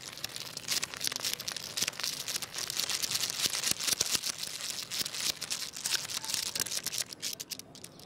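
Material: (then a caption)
Wood. A jointed wooden crocodile wiggle toy with many solid segments is wiggled by hand on a tile floor and lifted, its segments rattling and clacking against each other. The result is a dense, bright clatter of quick dry clicks with almost no low end and no ring after each hit.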